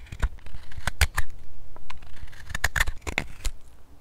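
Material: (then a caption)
Wood. A steel hook knife scoops and scrapes the inside of the partly hollowed bowl of a hand-held solid wooden spoon, cutting shavings. The result is a quick, uneven series of short, dry scraping strokes with bright clicky edges over a low thudding body, each stroke dying away almost at once.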